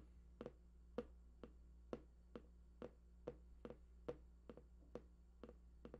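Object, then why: Large printed cardboard box. Fingertips tap near the right edge of a large, hollow, printed cardboard PlayStation 4 box whose contents are unknown. The result is a quick, uneven series of short, dull taps with a hollow mid-range knock around 490 Hz, each dying away almost instantly over a steady low hum.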